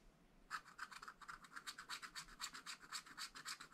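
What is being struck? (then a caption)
Wax-coated scratch-art paper pad scraped with a wooden stylus. A wooden stylus scratches repeatedly across the black coating of a flat, spiral-bound, wax-coated scratch-art paper pad, filling in a flower. After half a second of near silence, about 20 quick, dry, bright scraping strokes follow at a fairly steady pace, with a hissy rasp centred around 1.3 kHz and almost no low end. Each stroke stops short with no ring.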